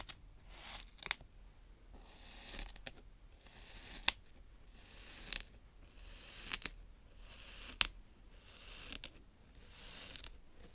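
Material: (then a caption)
Sand. A green plastic toy rake is drawn in crosshatch lines through a round patch of brown kinetic sand on a plastic tray. Soft, bright, gritty scraping strokes swell and fade at an unhurried, uneven pace, with almost no low end. Several brief, sharp clicks stand out above the hushed scraping.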